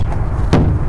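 A ball peen hammer thumps a rubber rear tire on a truck, checking its inflation by sound and rebound and comparing it with the other tires for any inconsistency. A short, dull, low thud stands out over a steady low rumble and dies away quickly. The tire sounds normal.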